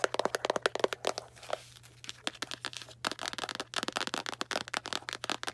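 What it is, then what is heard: Cardboard box, tapped and scratched. Long black nails tap and scratch a small Arm & Hammer cardboard baking soda box, giving rapid, dry, crisp clicks and crinkly scrapes with a bright edge over a faint low hum. The taps come in quick bursts, thin out into softer scratching for about a second and a half in the middle, then return in a dense run to the end.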